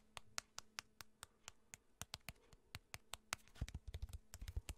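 Fingertips and nails tap on the surface of a small, flat, printed cardboard box that looks hollow and seems to hold cards, held in the hand close to the microphone. The quiet taps are short and dry, with a low hollow thump and bright clicky edges that stop at once. They start spaced out, then come faster and denser toward the end.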